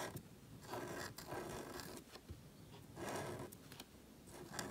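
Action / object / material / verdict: scrape / marker nib on thin paper cardstock / paper / none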